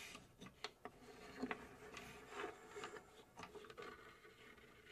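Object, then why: Laser-cut plywood box. Long pink acrylic nails scratch and tap the front and top surfaces of a hollow, laser-cut plywood puzzle safe box shaped like a cube. Quiet, dry wooden clicks with a hollow tone around 430 Hz sound over a continuous soft, bright rasping scrape. Each tap dies away almost instantly.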